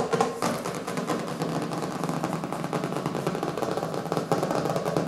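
Fingertips and nails of both hands tap fast on the cover of a small, solid hardcover book with a colorful printed cover resting on a wooden table. The result is a dense, steady patter of short, dry clicks and knocks centered in the mids, each dying away almost instantly, with a few slightly louder taps standing out.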